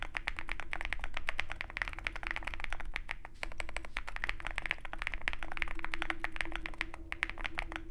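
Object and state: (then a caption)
Mechanical keyboard with PBT keycaps. Fingertips of both hands type continuously on a Zoom65 compact 65% mechanical keyboard with a dark case and white PBT keycaps. The result is a fast, dense stream of short, crisp clacks, bright and centered around 2 kHz, each dying out almost instantly. Underneath runs a steady low rumble and a faint constant hum.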